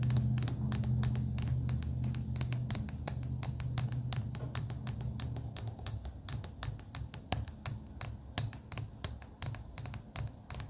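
Long pink acrylic nails tap rapidly and irregularly on a clear plastic pen barrel with pastel beads inside. Each tap is a short, bright click with almost no ring. A low, steady hum sits underneath and fades out partway through.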